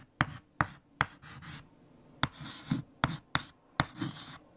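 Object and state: Chalk writing on a chalkboard.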